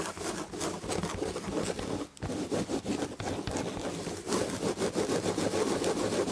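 Long red fingernails scratch the chenille tapestry fabric on an upholstered chair back, making quick, rhythmic, raspy strokes. The scratching pauses briefly around two seconds, then returns and grows louder and denser toward the end.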